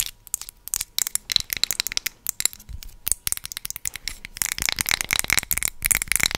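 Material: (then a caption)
Glass. A hand-sized glass jar filled with solid amber candle wax is held in one hand while long pointed acrylic nails tap and scratch its glass side. Quick, bright clicks come in an irregular burst with almost no ring. Near the end they blend into denser, hissy scratching.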